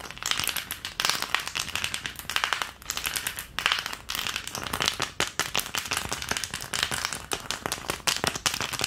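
Long nails tap rapidly across the cavities of an empty, long green plastic ice cube tray. The result is a dense, fast stream of bright, hollow plastic clicks centered around 1.9 kHz, each dying away almost instantly, with little low end.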